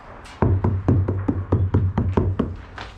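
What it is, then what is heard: Sound-deadened steel cab roof, damped. Someone taps on the steel roof panel of an old Holden H-series cab fitted with sound-deadening mat, giving a run of about eleven quick, dull knocks with a low thud and very little ring. The panel that used to sound tinny and loud is now softened right out, so the deadening is doing its job.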